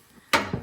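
A rusty steel vehicle frame is tapped, giving a sharp, bright metallic tap with a short ring and little low end. The clear, non-deep sound indicates the frame is solid with only surface rust, not rotted through.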